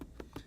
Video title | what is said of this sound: Fit for Fun ski performance series - Boot selection | you'll be able to hear the tapping and hear how much rattling there is that's his foot moving side to side in the boot probably by more than a centimeter